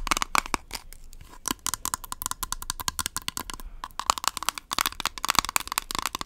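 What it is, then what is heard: Plastic powder compact. Long nails rapidly tap and scratch the rim and clear lid of a small, hollow, round plastic Rimmel Stay Matte powder compact. The result is a fast run of dry, bright clicks and crackly scratches with a faint hollow ring near 1.1 kHz and almost no low end, with a short lull near the middle.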